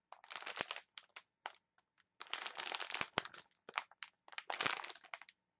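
Long nails scratch and crinkle a clear plastic package of wooden chopsticks, producing bright, dry crinkling bursts separated by short silences. The rustles are quiet and crackly, with sharp clicks and no low rumble.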